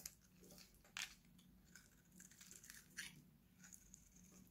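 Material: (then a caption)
Soap. An oval, hand-sized, solid purple Nivea bar soap, held in one hand, is shaved with a steel utility knife blade, and dry crunchy flakes pile up behind it. Bright, dry scraping crunches run throughout, with sharper, louder cuts standing out near one and three seconds over a faint low hum.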